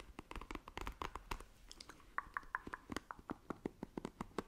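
Long nails scratch across the bristle cushion of a black plastic paddle hairbrush, making a quick run of short, dry, crackly scratches with a low thump under some strokes. Midway, a few brief squeaky tones near 1 kHz ring out between the scratches.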